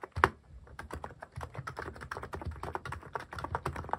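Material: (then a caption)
Plastic. Fingertip typing on a mechanical keyboard fitted with plastic cat keycaps gives a quick, steady run of short, dry clicks and clacks. The first keystroke is the loudest, and the rest follow at a brisk, even pace with a soft low thock under each one.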